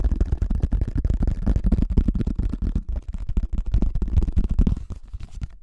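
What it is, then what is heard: Plastic flying disc. A hollow pink plastic frisbee with a cartoon face, held over the mic, is rapidly tapped and scratched on its top surface by fingertips and nails. The result is a dense stream of fast, short, dull thumps with a deep low-end boom and scratchy rustle between them, with a brief lull near the middle.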